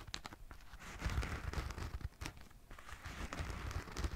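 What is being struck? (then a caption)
Running shoe with synthetic upper and rubber-foam sole. Fingernails scratch a hollow, empty black and yellow running shoe, first along its synthetic upper and then across its rubber/foam sole. The result is a steady, close, dry scratching and crinkling texture with soft low thumps and brief brighter rasps that fade quickly.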